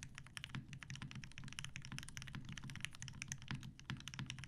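A TGR Jane V2 mechanical keyboard with 63.5g Tealios switches, cream and grey PBT plastic keycaps and a dark grey metal case is typed on continuously with the fingertips of both hands. It produces a steady, dense stream of short keystrokes, each with a deep low thock and a bright clack that stops almost instantly.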